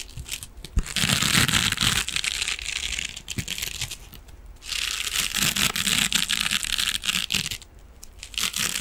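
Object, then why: Metal mesh scrubbing sponge. A hand-sized, soft silver metallic mesh scrubbing sponge is scratched and squeezed with fingernails and fingertips. Two long stretches of dense, bright crinkling scratching are heard, broken by a quieter pause, with small sharp clicks scattered throughout.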